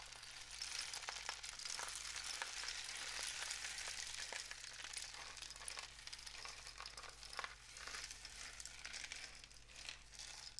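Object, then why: Cardboard rainstick tube with loose filling. A long, hollow, painted cardboard rainstick tube with a mesh end is tilted in both hands so its filling flows through it. This produces a soft, steady, bright rushing patter like falling rain, with scattered sharper clicks. The patter swells and eases gently over about ten seconds.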